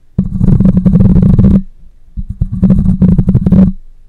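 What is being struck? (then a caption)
Metal mesh microphone grille. Fingernails scratch and fingers rub across the metal mesh grille of a black microphone in two bursts of about 1.5 seconds each. The sound is a low, rough, rumbling scrape with a steady hum near 170 Hz and rapid crackling strokes, fading between and after the bursts.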